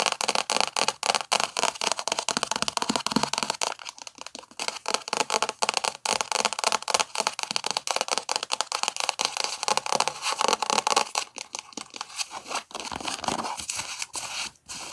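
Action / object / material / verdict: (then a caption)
scrape / paperback book, paper cover / paper / none. A thick paperback book is held in the hands while long nails scratch and tap its cover and edges. Dense, rapid crackly taps and scraping strokes fill the clip with bright, papery texture and almost no low end.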